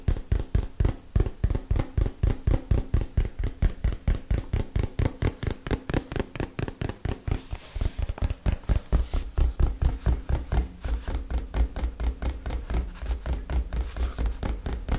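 A small, hollow, printed cardboard retail box is held in both hands and tapped with fingernails in a fast, steady rhythm of about 58 taps. Each tap lands as a short, dull, low thud with almost no ring, and a brief brighter scrape cuts in around the eight- and nine-second marks.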